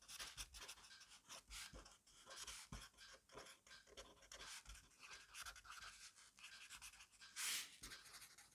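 A black pen writes rapidly on a fresh page of a grid-paper notebook resting on a desk. The tip scratches and rubs the paper in quick, bright, hissy strokes with little low end, and a louder scrape comes near the end.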